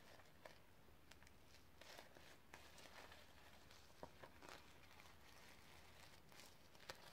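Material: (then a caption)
Plastic sequins. Long red nails scratch across a sequin-covered notebook lying on a leather book, producing a soft, continuous crinkly rasp. Scattered brighter ticks and clicks rise out of the texture over a steady low background hum.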